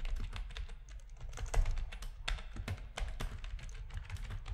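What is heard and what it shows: Both hands type with their fingertips on a full-size black plastic RGB-backlit keyboard with a hollow plastic housing, which rests on a desk. The quick, overlapping keystrokes give short, dry clicks with a bright top. A low, hollow thump sits under the clicks and carries most of the sound.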